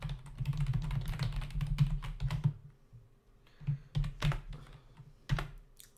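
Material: Plastic.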